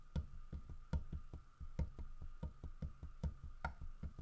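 Fingertips and nails tap the carved fur of a large, solid carved wooden bear figurine, making a steady run of short, dull, low knocks that die away almost at once. A faint steady tone hums underneath the quiet tapping.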